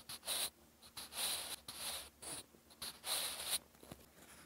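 A wooden graphite pencil scratches across a lined, textured cream paper notebook page in continuous writing strokes. Bright, dry scratching comes in short bursts and longer strokes with brief quiet gaps, and there is almost no low end.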